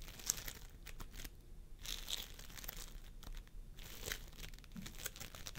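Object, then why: Floam foam with polystyrene beads. Fingertips of both hands press and squish a pastel mound of floam sculpting foam made of polystyrene beads on a wooden table. The result is quiet, bright crinkling and crackling pops with soft sticky squelches in irregular bursts, separated by brief near-silent pauses.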